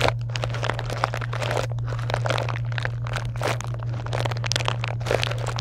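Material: Foil, plastic.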